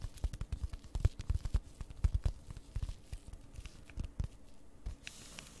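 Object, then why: Plastic-wrapped flat cardboard package. Long red nails quickly tap and scratch the front of a flat cross-stitch kit, a card packaged in plastic and held upright. A rapid, irregular patter of soft, dull taps comes with light crinkly scratching, fading into a quieter faint hiss at the end.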